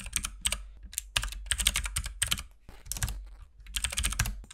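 Both hands type with their fingertips on a compact RGB mechanical keyboard with white and pink plastic keycaps, producing dense, fast tapping. The short, sharp clicks are bright, with a low thud under each keystroke. They come in quick bursts separated by brief pauses.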